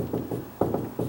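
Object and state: Hollow lower section of a door.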